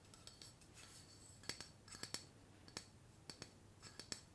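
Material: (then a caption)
Aluminium. A tall, slim, hollow, pressurised aluminium hairspray aerosol can with a black cap is held upright in one hand and tapped and scratched with long painted fingernails. The result is a quiet, irregular series of short, bright metallic clicks and taps with almost no ring, mixed with soft scratching between them.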